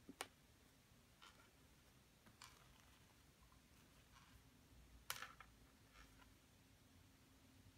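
A pointed wooden stick scratches and digs into a solid, dampened plaster excavation block while the other hand steadies it, with crumbled plaster lying around. About six sharp, bright clicking scrapes sound out, each very short and dying away quickly. Between them there is only a quiet, steady low hum.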